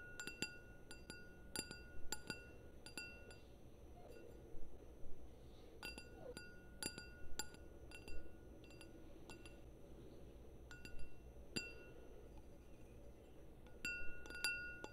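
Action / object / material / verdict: tap / small glass wine glass / glass / none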